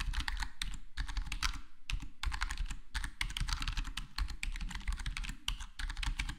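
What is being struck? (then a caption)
Plastic computer keyboard with foam-dampened case. Fingertips of both hands type steadily on a full-size black plastic HyperX Alloy Core gaming keyboard with square plastic keycaps and a foam-modded, foam-dampened case. The result is a rapid, continuous stream of short, muffled keystrokes with a deep thocky body and bright clicky tops, each tap dying away almost instantly.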